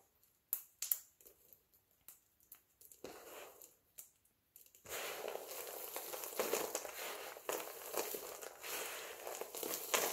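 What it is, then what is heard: Dry soap flakes crushed. A pile of multicolored dry soap flakes is crushed and rubbed with fingertips and palms. First come sparse, sharp crunches and crackles. After about five seconds they give way to a continuous, dense, bright crinkling as the flakes are ground together.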